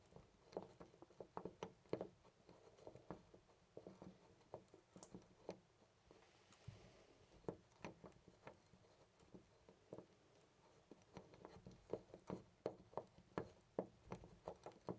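A loose brass-colored metal door knob on a white panel door is rattled and jiggled by fingertips. It gives quiet, quick metallic clicks and taps in irregular bursts, with short pauses between them. The clicks are dull and mid-pitched, centred around 540 Hz, and die away almost instantly.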